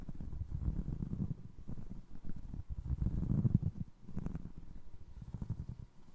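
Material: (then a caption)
Foam resin. Fingertips tap the upper and scratch the ridged sole of a single navy blue foam resin Crocs clog. The result is a steady run of soft, dull, low thuds and muffled rubbing with no bright edge and almost no ring.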